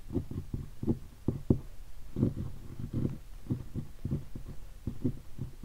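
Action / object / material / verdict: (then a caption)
tap / guitar hard case covered in leatherette and stickers / leatherette / none. A single finger taps on the stickers of a hollow guitar hard case covered in black leatherette. It makes an irregular series of soft, low, dull thuds with a hollow, boomy body and almost no ring.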